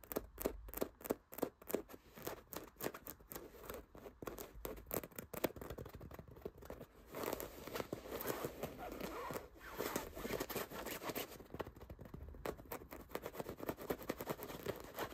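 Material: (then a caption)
Fabric. Fingertips and short nails scratch and rub the textured fabric of a soft, stuffed cream throw pillow with embroidered dots. At first there are quick, separate scratchy strokes, which blend into a steadier, denser rasping rub with a bright, papery texture. The whole sound stays quiet and close, with little low end.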